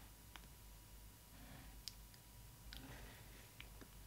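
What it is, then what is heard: Plastic window of a doll box. Long nails tap the clear plastic window over a Disney Ily 4ever Stitch doll in its cardboard box, making five quick, bright clicks spread across the clip. Each tap is sharp and dies away almost at once over a faint, low background hum.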